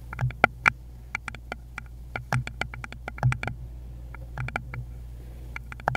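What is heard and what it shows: A small, rounded, likely hollow wooden bowl is tapped rapidly with long pointed nails on a gloved hand. The result is a quick, irregular patter of short, dry clicks with a bright edge and almost no ring, heard over a steady low hum.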